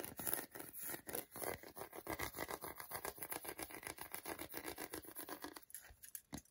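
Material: Chocolate.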